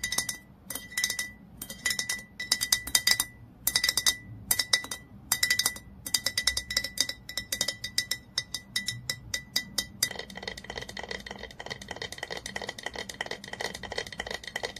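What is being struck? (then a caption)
Dark glass olive oil bottle. Fingernails tap rapidly on a hollow, dark glass olive oil bottle, making bright clinking clicks with a short glassy ring near 2 kHz. The taps come in quick bursts with brief pauses at first, then merge into a dense, continuous stream of fast tapping for the last few seconds.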